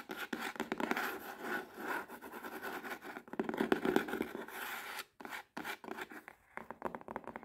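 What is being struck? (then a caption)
Cardboard box. Long red-painted nails scratch and tap the front and side of a medium, hollow, closed cardboard subscription box printed with a cinema-seat design. The result is a fast, dry run of scratching and rubbing with quick tapping clicks that die away almost instantly. A brief gap near the five-second mark is followed by sparser, choppier taps and scrapes.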